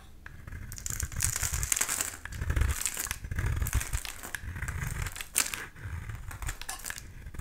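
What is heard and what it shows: A black utility knife blade shaves and scrapes a solid oval pink bar of soap held in the hand, curling flakes off its surface. The sound is a continuous dry, crinkly scraping with a bright hiss, over soft low thuds from the handling. It rises and falls with each stroke and leaves no ring.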